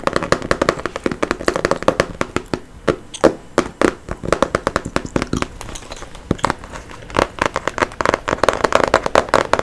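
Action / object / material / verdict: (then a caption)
tap / cardboard box holding a card deck / cardboard / none. Fingernails tap and scratch on a printed, book-sized cardboard box of Chakra reading cards, hollow with the card deck inside. Rapid, dry, hollow clicks and brief scratchy rasps come in dense bursts with short pauses, centered in the midrange with little deep or bright content and almost no ring.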